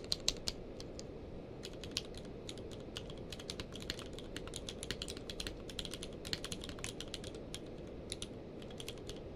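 Both hands type rapidly with their fingertips on a full-size mechanical keyboard with a blue-grey case and white and grey plastic keycaps, lying on a blanket. A dense stream of short, sharp, bright clicks stands out over a steady low background hiss, with a few louder strikes scattered throughout.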